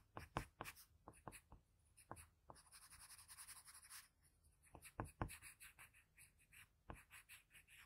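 A graphite pencil with a blue patterned barrel makes small shading strokes around the eye of a portrait on a flat sheet of drawing paper, heard up close. Quick, dry scratches and light taps come in an uneven series, with a bright, hissing, longer scrape in the middle of the clip.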